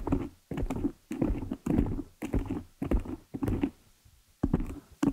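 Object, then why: Foam microphone windscreen. Long nail tips tap quickly on top of a black foam cover fitted over a desktop microphone. The result is bursts of muffled, low, thumping patter separated by short pauses, with almost no brightness.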